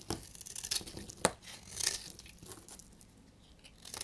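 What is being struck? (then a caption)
Bar of soap shaved with a blade. A solid, red, translucent bar of dried soap is held in the hand and shaved with a utility knife blade, so flakes crumble off. Short, dry, bright scraping and crackling strokes come in quick, uneven bursts, with one sharper snap near the middle before the shaving settles into softer rasps.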